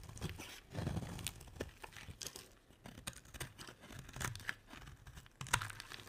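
A utility knife blade scrapes and carves shavings off the edge of a solid, dry, hand-sized white bar of soap held in one hand. The clip is a series of crisp, crunchy scraping and tearing strokes with bright, hissy edges over a soft low rumble, and a few sharper cuts stand out near the middle and end.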